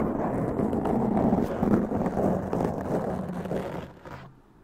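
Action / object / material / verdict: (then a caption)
scrape / foam microphone windscreen / foam / none. Long press-on nails scratch a black foam windscreen on a large condenser microphone with both hands. The result is a dense, continuous scratching and rustling, heavy in the low-mids with almost no bright content. It holds steady, then fades away over the last second.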